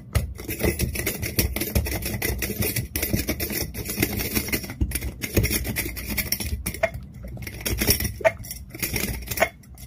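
Long fingernails rapidly tap and scratch the glass lid and sides of a small, empty, hollow clear glass clip-top jar with a metal wire clasp. The result is a dense, nearly continuous stream of bright clicks, clinks and scraping with a light hollow ring and only brief pauses.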